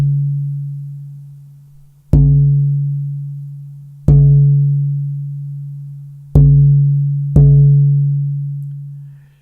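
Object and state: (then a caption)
Lively, resonant rosewood guitar back plate. An unbraced, book-matched Brazilian rosewood guitar back plate is tapped four times, and each tap brings a long-sustaining, low ringing tone around 145 Hz that is still sounding when the next tap lands. It is a lively, high-Q piece of wood with exceptional ring.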